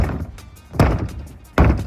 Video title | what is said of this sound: Ventilation- Tips/Techniques for Sounding the Roof | sounding on all sides out in front of us, feeling for structural members